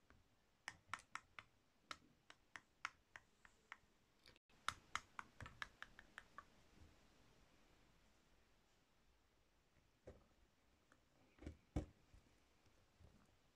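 A solid pink soap bar held in the hand is scraped with a metal carving tool, shaving off thin layers, with a fingernail resting near the blade. Quick, crisp clicking scrapes come in a rapid run during the first six seconds, with a bright snap to each and almost no ring. After a quieter stretch, a few more sharp scrapes come near the end.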